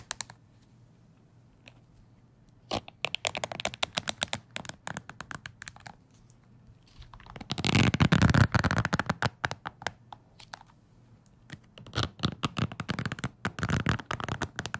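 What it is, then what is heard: Wooden hair brush with bristles. Fingertips scratch and flick the bristles of a wooden-handled hair brush close to the mic, making rapid, dry, bright ticking clicks in uneven bursts. A louder, denser stretch of rough scratching comes midway before the quicker flicking resumes.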